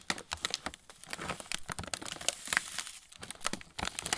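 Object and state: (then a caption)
Plastic snack bag crinkling. A full plastic-film pretzel bag is held up and flexed in both hands while fingertips crinkle and rub the film. The result is a quiet, continuous run of bright, crisp crinkling and sharp crackles that are mostly high-pitched, with little low end.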